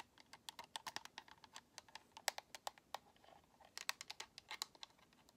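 Long nails tap quickly on the top edge and bumpers of a white, hollow plastic Xbox controller, close up. The sound is an irregular stream of dry, bright plastic clicks and ticks, about 27 in all, that stop instantly with no ring and no low end.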